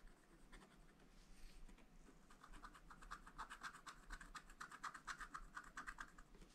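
A wooden stylus scratches the wax coating off a thin, flat black scratch-art page in a small spiral-bound pad. Quiet, dry, rasping scrapes come in short, uneven strokes centered around 1.2 kHz with bright edges. They start soft and grow busier and louder in the second half.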